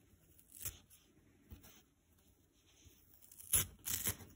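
A detached green nylon scouring pad is pulled and ripped into fibrous pieces with fingers. Four short, bright, crispy tearing bursts are heard, the last two louder, with quiet rustling in between.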